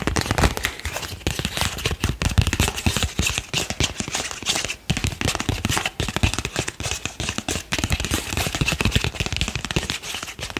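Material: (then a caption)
Paper. A single thin printed paper card is bent and rubbed between the fingers and thumbs, making dense, continuous crinkling and crackling. Sharp, dry snaps spread from low thumps to a bright hiss, with brief dips but no real pauses.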